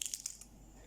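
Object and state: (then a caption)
Crisp fresh lettuce leaves. Crisp, fresh lettuce leaves, harvested in the morning so they stay crisp rather than soggy, give a few quick, bright crunches, mostly high-pitched crackle with very little low end. The crunches fade into a faint, quiet hiss, and the leaves sound crisp.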